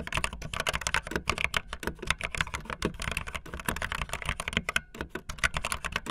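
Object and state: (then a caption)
Plastic membrane keyboard being typed on. Fast typing on a full-size backlit plastic Bluetooth membrane keyboard with white and blue plastic keycaps and a hollow plastic body, the keys pressed with fingertips and the tips of long painted nails. A rapid, dense stream of short, bright plastic clacks with a hollow undertone, each dying away almost instantly, with the sharpest energy around 2 kHz.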